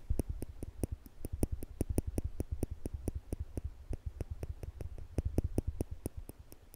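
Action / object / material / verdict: tap / small steel tweezers / stainless steel / none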